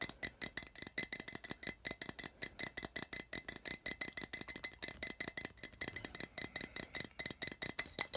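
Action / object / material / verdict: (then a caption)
tap / small metal tin can / metal / none. Fingernails tap rapidly on a small hollow printed metal tin, first along its side wall and then on the metal end. About fifty quick, bright clicks follow one another with almost no ring, each carrying a thin metallic tone near 2 kHz and very little low end.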